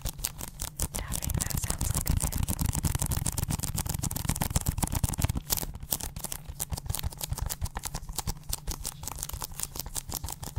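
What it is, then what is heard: Plastic game case tapped and scratched with nails. Long acrylic nails rapidly tap and scratch the plastic surface of a small, hollow, closed Mario 3D video game case held in both hands close to the microphone. The fast, irregular clicks have a low, hollow thump beneath bright, crisp ticks and scratchy rasps that keep up steadily throughout.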